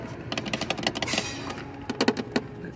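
Rapid, light tapping on a miniature plastic LED village house in a store, with quick, dry, clicky taps that stop almost instantly. A faint hum of background noise sits under the taps.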